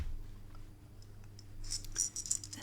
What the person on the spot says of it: This one's a little bit noisy.